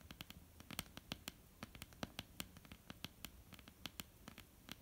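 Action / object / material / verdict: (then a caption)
tap / wooden tabletop / wood / none. Long almond-shaped painted nails tap and scratch across a flat, solid wooden tabletop. Quick, irregular clicks with no ring stand out over a constant soft scratching that spans low to high. Each tap is sharp and dry.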